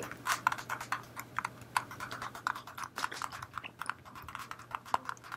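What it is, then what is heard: Plastic battery pack. Long painted nails tap quickly and unevenly on a black, phone-sized solid plastic battery pack held in one hand. The result is a dense run of dry, sharp clicks centered in the midrange with bright edges, each dying away almost instantly, over a faint steady low hum.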